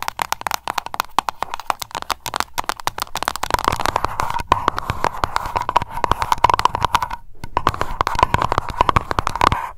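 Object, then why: Glass candle jar with tin lid. Long acrylic nails rapidly tap and scratch the tin lid and glass sides of a small wax-filled lavender candle jar held in the hands. The result is a dense stream of quick, dry clicks with a faint ringing tone near 960 Hz, briefly pausing just after the seven-second mark before resuming.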